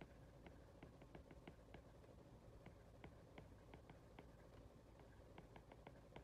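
An Apple Pencil's plastic tip rapidly taps and scratches across an iPad's glass touchscreen while handwriting text, held by a hand with long red nails. Quiet, crisp little clicks and faint scratchy strokes come in an irregular stream over a soft low background hum.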